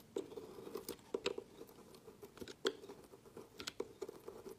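A hand holds a solid orange-and-white bar of soap on a woven mat while a dark metal knife blade shaves thin slices off its end, scraping and cutting the soap into curled flakes. The result is a quiet series of short, crisp, crunchy scrapes and cuts with a steady midrange tone and occasional bright, sharp clicks.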